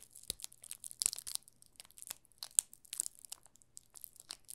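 A yellow solid bar of soap wrapped in clear plastic film is held and turned in both hands while fingertips rub and crinkle the film on its top and sides. The result is a quiet, steady stream of sharp, bright crinkling and crackling bursts with almost no low end, each snap dying away almost instantly.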